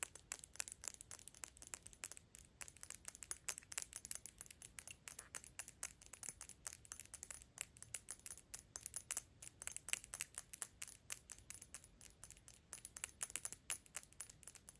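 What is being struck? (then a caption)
Glass perfume bottle filled with liquid. A Gucci dark glass perfume bottle with a gold cap, filled with liquid and held close, has its glass body tapped and scratched with long pink nails. The result is a fast, steady stream of crisp, bright clicks and light scratches, each dying out almost instantly, over a quiet background with very little low end.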